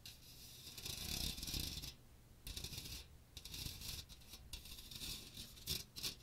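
A small hand strainer with a fine metal mesh dome and a teal plastic rim and handle is held over a microphone while fingertips and nails scratch and tap the hollow mesh. The result is bursts of bright, hissy scratching and light tapping with a faint low rumble, separated by brief quieter gaps.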